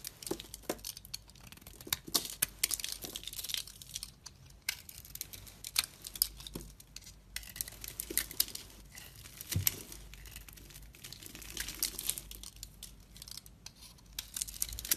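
A metal box-cutter blade scrapes flakes off a solid, hand-sized green soap bar with a gold-brown coating while the bar is held in the hand. The result is a quiet, steady run of crisp, bright scraping and crinkling strokes, with short, dry scratches that die away almost instantly.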